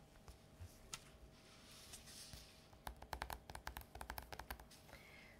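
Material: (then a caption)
Glossy paper. Fingertips and short nails from both hands tap and scratch the glossy cover of a Buffy graphic novel, a solid stack of paper lying flat on a polka-dot cloth. Soft, sparse scratches and light brushing give way to a quick run of crisp, dry, bright taps that stop almost at once. A faint steady hum sits underneath.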